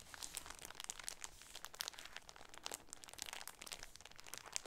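A plastic-wrapped shower curtain package with a sunburst pattern is held in both hands and crinkled with the fingertips and nails. Quiet, bright crackling and crinkling comes in many short, sharp bursts, with high snaps standing out above a soft, low rustle.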